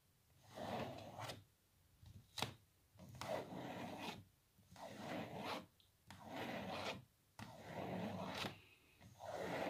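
Long natural nails scratch across the glossy laminated printed face of a small, thick, rectangular photo block wall frame held upright. Six rasping scratch strokes come in separate bursts with quiet pauses between them, each with a bright, papery hiss and a few sharp clicks.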